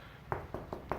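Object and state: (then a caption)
Solid repaired plaster wall. Four taps on a repaired plaster wall patch, where a roughly inch-thick chunk had fallen out and was bonded, finish-plastered and skimmed smooth. Each tap gives a short, dull knock centred in the low-mids that dies away almost at once. The patch sounds solid.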